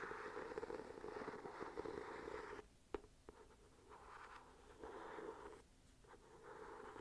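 Fingernails scratch and tap on the embossed cover of a solid, ornate gold-patterned hardcover journal held upright. A dense, steady scratching runs for a few seconds, then drops away to a couple of sharp, dry taps. Softer bursts of scratching follow.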